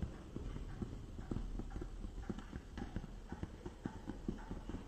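A small clear plastic case with a green lid and base, holding a product box inside, is held up and tapped quickly with fingertips and nails on its top and sides. The result is a steady run of rapid, short, dull clicking taps with a low, muted body and almost no ring.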